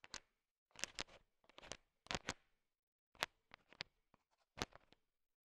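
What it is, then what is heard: Candy-coated chocolates clicking together. A thin wooden stick stirs through a pile of small, solid, colorful sugar-coated M&M chocolate candies, so the candies shift and click together. Quiet, bright, dry clicking rattles come in short bursts separated by brief silences, with almost no ring or low end.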